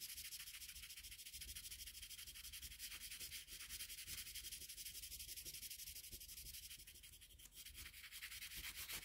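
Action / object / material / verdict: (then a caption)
scrape / colored pencil rubbed on a sheet of drawing paper / paper / none. A colored pencil in a metal extender, held in the fingers, is rubbed steadily across a flat sheet of drawing paper on a table to shade a red-pencil Kirby sketch. It makes a continuous, bright, scratchy rubbing of quick overlapping strokes at a steady, quiet level, with a brief dip near the end before the shading resumes.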